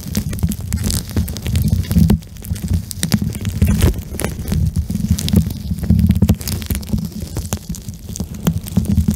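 A small, soft pink eye mask made of plastic and filled with gel beads is pressed against a microphone and squeezed and rubbed with fingertips and nails. The result is a dense, low, muffled rumbling and squishing, dotted with many quick, bright crackling clicks.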